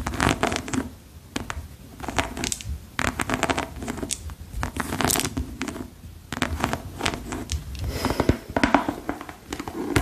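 Long pearl-decorated nails scratch and tap a single hollow, empty yellow rubber rain boot, first along its treaded sole and then over its glossy shaft. Dense bursts of gritty scratching and quick, dry taps carry a hollow, muffled body underneath, broken by short, quieter pauses.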